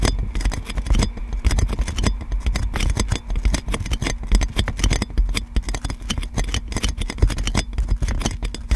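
Long dark nails continuously scratch and tap clear plastic cling film wrapped around a large metal microphone. The result is a dense stream of crinkly scrapes and quick taps over a heavy, low, boomy rumble, with only faint bright crackle on top.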